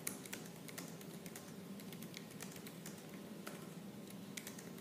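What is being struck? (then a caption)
Laptop keyboard with plastic keys. Fingertips with purple nails type fast and hard on the black plastic keys of a silver laptop. A rapid, steady stream of sharp, bright clicks comes through with a few louder taps, all over a low, constant hum. Each keystroke dies away almost instantly.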